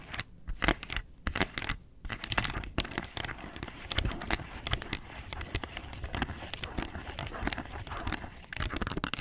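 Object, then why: Plastic box lid scratched with fingernails. Long nails scratch the rim and underside of a round, hollow, yellow plastic box lid that has a barcode sticker on its underside. The result is a steady run of dry, crackly scratches and rapid, bright ticks with a crinkly texture. Brief pauses come early, then the scratching grows denser and continuous.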